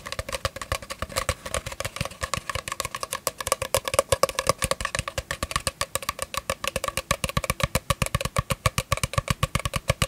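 An empty, hollow, long brown cardboard tube is held in both hands close to the microphone and tapped with fingertips and nails along its surface and at its open end. Dozens of quick, dry, hollow taps follow in a fast, uneven rhythm, each carrying a resonant tone around 550 Hz with bright clicks from the nails. Every tap dies away almost instantly.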